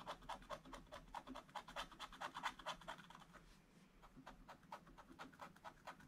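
A wooden stylus scratches the black coating off a scratch-art calendar page in a book in small, quick strokes. Dozens of short, dry, papery rasps come in a fast, uneven rhythm, each stopping almost at once. They ease off briefly just before the four-second mark, then pick up again.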